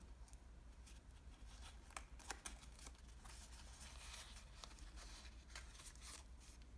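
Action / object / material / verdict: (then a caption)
scrape / small origami model of thin Japanese washi paper / paper / none. Fingertips and fingernails press, crease and shape the folds of a small origami model made of thin green patterned Japanese washi paper. Quiet, crisp paper crinkles and sharp creasing snaps sound over a steady low hum.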